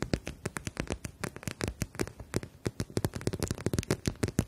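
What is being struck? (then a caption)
Plastic eye mask filled with gel beads. Long nails tap and scratch the surface of a clear plastic eye mask filled with gel beads and edged in fabric, held in both hands. About 29 quick, dry taps come in a rapid, uneven stream, each a short low thud with a brief bright click on top. Every tap dies away almost at once, with faint scratchy rustle between them.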